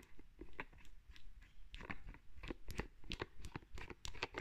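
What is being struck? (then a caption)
Plastic lotion bottle with plastic cap. Long red nails tap and scratch a white plastic lotion bottle with a green plastic cap, producing quiet, irregular, crisp clicks and crunchy scraping bursts. The sharp, dry taps die away almost instantly over a low, soft background hum.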